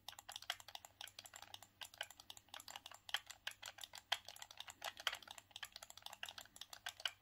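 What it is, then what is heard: Plastic game controller buttons clicking. Thumbs rapidly click the buttons and D-pad of a grey, hollow, hard plastic hand-held Sega Saturn gamepad. The result is a quick, uneven run of short, bright plastic clicks with almost no ring and no low end, some clicks louder than others.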